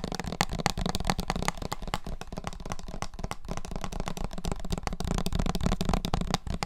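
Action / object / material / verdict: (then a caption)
tap / small plastic-capped bottle with liquid / plastic / none. A small bottle with a red plastic screw cap and a printed label, partly filled with yellowish liquid, is held in both hands and tapped with the fingertips on its body and cap. The result is a steady stream of quick, dry, muffled taps with very little ring, heavy in the low end.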